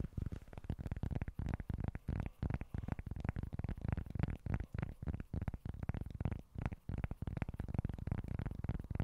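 A small, flat cork board with a speckled cork surface is scratched and tapped with fingertips and short nails. It makes a quiet, rapid, uneven series of dull, muffled taps and soft scratching. The sound is mostly low with very little brightness, and each tap dies away almost instantly.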